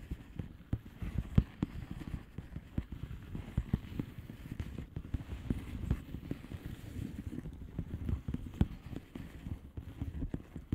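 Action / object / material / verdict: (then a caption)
tap / plastic bubble wrap envelope / plastic / none. Long nails tap quickly and steadily across the bubbles of a flat blue plastic bubble wrap envelope. The taps are soft, dull and mostly low-pitched, with short clicky attacks that die away almost at once, forming a continuous irregular patter with occasional slightly louder hits.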